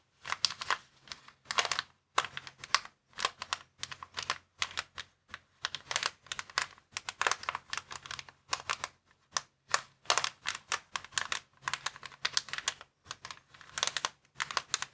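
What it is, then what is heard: Plastic air column cushion bag. Fingertips scratch and rub across the columns of a clear plastic air column cushion bag resting on a table. The result is rapid bursts of bright, dry crinkling and ticking that stop dead with no ring, separated by brief pauses.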